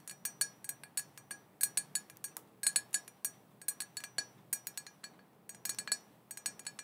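Long painted fingernails tap a small, black, glossy glass cauldron printed "Witches Broth" on its body and rim; the cauldron is hollow, open with no lid, and looks empty. A rapid, uneven series of light glassy clinks follows, each bright, thin and high-pitched with almost no low end and a very quick decay.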